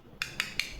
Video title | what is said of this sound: Foot burning relief bath salts | వినిపిస్తుందా ఆ metal sound ఇది